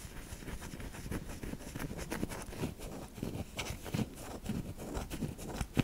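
A flat, solid, cream-white bar of soap, palm-sized and thinly cut, is held in one hand and scratched and tapped with long manicured fingernails. Quiet, dry scratching and faint scraping run throughout, broken by small, short taps and ticks that peak in a sharper click near the end.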